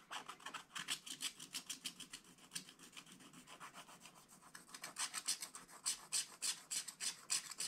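A wooden stylus scratches the black coating of a scratch-art book page below the tree, making a steady run of quick, dry rasping strokes. The scratches are quiet, bright and hissy, with almost no low end, and come in a loosely regular back-and-forth rhythm that grows a little sharper near the end.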